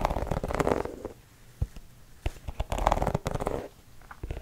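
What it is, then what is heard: Rubber sneaker sole scratched. Fingertips and nails scratch the textured tread of a white sneaker's tan gum rubber sole, held up so the sole faces out. Two bursts of dense, muffled, low-heavy scratching and rubbing are separated by a quieter stretch of scattered soft clicks and taps, with more faint scratching at the end.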